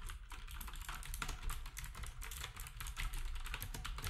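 Fingertips type steadily on a black, compact, plastic typewriter-style keyboard with round plastic keycaps. The result is a fast, continuous stream of short, bright plastic clicks and clacks over a steady low rumble, each keystroke dying away almost instantly.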